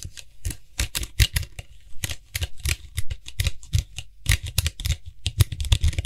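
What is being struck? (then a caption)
Plastic cap of an aerosol spray can. Fingertips quickly tap and scratch the white hollow plastic cap of a Lysol aerosol spray can while gripping it around the rim. The result is a fast, irregular stream of short, hollow plastic taps with a low thump and bright, crisp clicks, broken by brief scratchy rustles.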